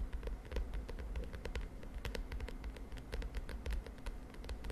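Long nails of both hands tap rapidly on the lilac plastic cover of a spiral notebook. The result is a dense, steady stream of short, light clicky taps over a constant low hum.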